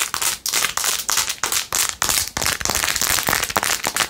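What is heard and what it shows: Long acrylic nails scratch fast across a handheld clear/white plastic phone case set with blue acrylic rhinestones and a metal ring holder. The result is a rapid, uneven run of bright, scratchy clicking bursts with almost no low end, each stroke starting sharply and fading quickly.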